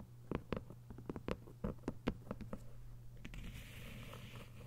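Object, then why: Hardcover book with paper jacket. Long white nails tap a thick hardcover novel with a paper dust jacket, giving 13 quick, dull, low-pitched taps with almost no ring over a steady low hum. In the last second and a half, the nails scratch along the book's edges, making a continuous soft, bright rasping.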